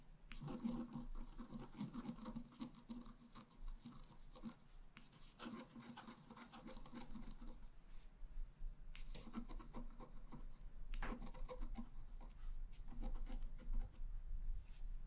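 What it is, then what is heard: Scratch-art paper card being scratched. A wooden stylus point is scratched across the black coating of a flat A4 scratch-art sheet, which lies on a table with a rainbow layer underneath while the other hand holds it steady. The scratching comes in several dry, raspy strokes with bright scraping grit, separated by short pauses, over a faint low rumble. The result is a series of rhythmic, soft rubbing scratches.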